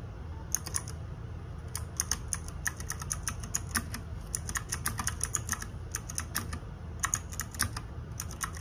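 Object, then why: Plastic mechanical keyboard. Fingertips and nails tap rapidly across the plastic keycaps of a small RGB-backlit 60% mechanical keyboard, a Ducky One 2 Mini with a plastic case, resting on a desk. Quick, bright clicks with almost no ring-out come in typing bursts with brief pauses, over a steady low rumble.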